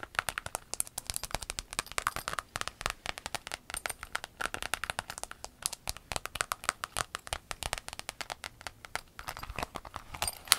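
Long acrylic nails tap and scratch a flat, empty rainbow clear vinyl pencil case lying on a table. A rapid, dense run of sharp, bright clicks and crinkly scratches continues throughout, with very little low end and each tap dying away almost instantly.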